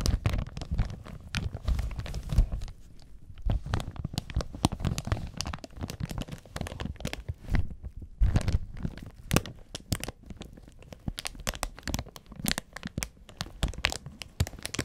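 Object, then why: Thin plastic protective film over a small audio mixer. Gloved fingertips press, rub and crinkle thin clear plastic protective film over a small black audio mixer with metal jack sockets. The result is a steady run of close, soft crinkles and dull thumps, heavy in the low end, with sharp, bright crackles scattered throughout and brief pauses between bursts.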